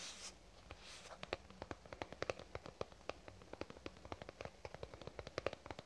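Fingernails tap rapidly on a lavender soft plastic squeeze tube, producing dozens of quick, dry clicks with a hollow midrange tone and almost no ring. The taps come in a steady, slightly uneven stream over quiet background hiss.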